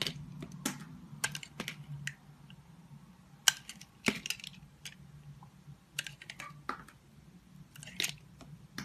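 A utility knife blade shaves curls from a solid green bar of soap held in the hand, making irregular, crisp, bright scraping and snapping strokes that stop almost instantly. A faint low hum sits steadily underneath.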